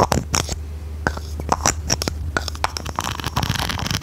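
A hand-sized hollow orange plastic toy with a decorative flower is held in both hands and tapped and scratched with long red nails. Quick, dry clicks with bright tips cut through a low, steady hum, and near the end they blur into a busier run of scratching.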